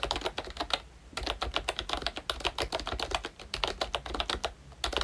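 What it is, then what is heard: Plastic membrane keyboard. A pink plastic Mickey Mouse retro membrane keyboard with round black keycaps is typed on with the fingertips of both hands. Quick, bright clacks come in an uneven run, with short dry taps and a brief pause near the one-second mark.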